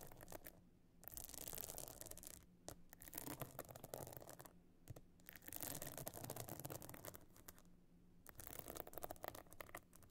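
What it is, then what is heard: Pebble-encrusted clutch bag scratched with nails. Long nails scratch across the bumpy top of a closed evening clutch bag lying flat, its surface covered in glued stone and shell chips and edged with a gold metal frame. The scratching comes in repeated rough, crackly bursts with a bright hiss, separated by short quieter pauses, over a faint low hum.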